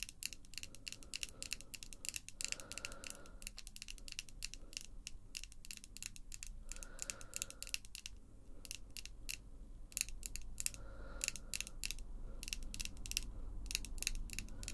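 Long, glossy pink acrylic false nails, small pieces of solid hard plastic, are tapped and scratched against other nails. Rapid, sharp nail-on-nail clicks sound bright and dry, broken by a few short scratching passes, over a faint low rumble.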